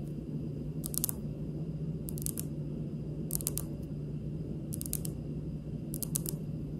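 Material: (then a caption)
Granite. Fingernail tips, long and pink, on both hands tap a large, solid, polished, speckled granite stone countertop. Five short bursts of quick, bright, clicky taps each die away almost instantly over a steady low hum.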